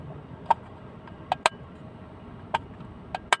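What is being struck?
Small plastic hinged box.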